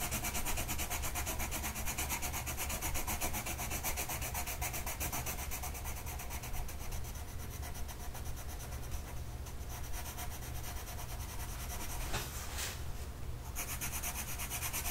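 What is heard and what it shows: A blue colored pencil tip rubs across a flat printed mandala coloring sheet of paper lying on a table and held by one hand. A steady, continuous scratchy rubbing runs throughout over a constant low hum, with a few brighter scraping bursts toward the end.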